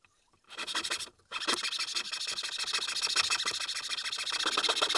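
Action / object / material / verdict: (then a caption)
scrape / small carved wooden mask / wood / none. A small, solid, pale wooden keychain mask blank, held flat under the fingers, is rasped with a large flat metal file in quick back-and-forth strokes. A dry, bright scratching starts, breaks off briefly, then resumes as a steady, dense rasp that grows slightly louder toward the end.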